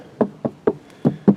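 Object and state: Insulated car door panel, solid not tinny.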